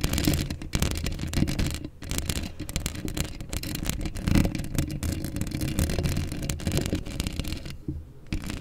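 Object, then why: Steel mesh microphone grille. Long acrylic nails scratch a hollow steel mesh microphone grille up close, producing a continuous, rapid, textured scraping. It is dominated by a heavy low rumble, with brief drops to near silence partway through and again near the end.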